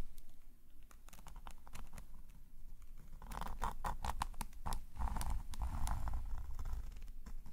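A metal calligraphy nib scratches long curved lines across a black paper sketchbook page lying flat. Dense, irregular dry scratches and sharp bright ticks are heard, with a rasping mid tone around 900 Hz in the louder second half as the strokes grow steadier.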